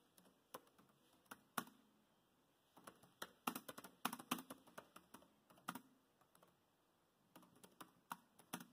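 Bare fingertips of both hands type fast on a dark grey plastic laptop keyboard with low-profile chiclet keys built into the laptop body. Quiet, short, dry key taps come in irregular bursts with brief pauses, each tap a soft click with a light thud around 240 Hz and a bright edge.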